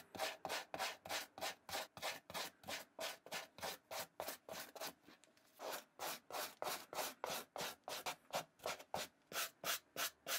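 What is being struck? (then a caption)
Suede slip-on shoe. A plastic suede brush with white bristles is scrubbed back and forth across the suede upper of an empty black and white Vans slip-on shoe held in the hand. About 34 quick, bright, dry brushing strokes follow one another at a steady rhythm, with a brief softer stretch just past the middle.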